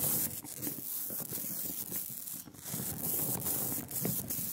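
A rubber brayer rolls back and forth through a smooth layer of sticky black printing ink on a glass slab. It makes a continuous tacky, sanding-like hiss with a soft low crackle, swelling and dipping slightly with each pass.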